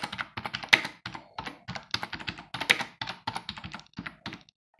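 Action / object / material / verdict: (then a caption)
tap / plastic computer keyboard / plastic / none. Fingertips of both hands type on a black plastic computer keyboard with a hollow housing resting on a wooden desk. About two dozen short, bright, clacky keystrokes come in irregular bursts with brief pauses, each tap dying away almost instantly with little low-end thump.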